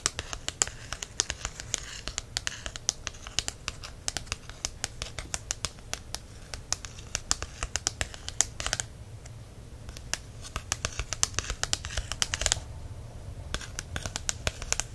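Fingertips and nails tap and scratch the glossy card cover of a small softcover herb guide held in the hand, which feels solid. Dense, crisp, bright ticks come in quick runs over a soft hiss of scratching, with a brief gap in the scratching near the end.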